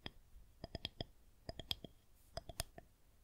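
Long nails tap a solid white plastic rolling pin held horizontally, first on top and then tapping and scratching from below. Twelve short, dry, sharp clicks come in uneven clusters, each bright with a hollow midrange ring that dies away almost instantly against a quiet background.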